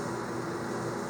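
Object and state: Nothing is struck.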